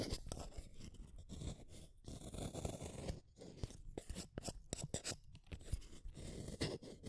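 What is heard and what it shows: A solid blue wooden colored pencil is shaved with a small metal blade set in a yellow holder. Quick, dry scraping strokes repeat in close succession, each a short crisp rasp with a soft low rumble underneath and a brief bright edge. The strokes stop abruptly with no ring.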